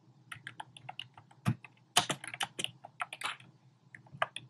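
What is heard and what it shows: Fingertips with short painted nails type rapidly on a compact keyboard with a black plastic frame and round pink, orange and cream plastic keycaps, resting on a desk. About 18 crisp, bright plastic taps land in an uneven rhythm, with a few louder, clustered strikes in the middle and near the end. Each tap dies away almost instantly.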